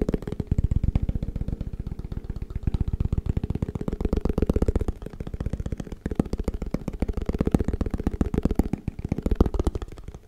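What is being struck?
Small plastic food container.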